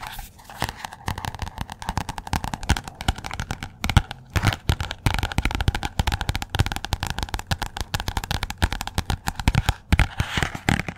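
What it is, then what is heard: Paperback book. Long nails tap fast on the glossy purple front cover of the paperback book "Persepolis," held upright close by. The result is a dense, continuous run of short, dry taps with a low, thumpy body and quick clicky tops that stay busy for the whole clip.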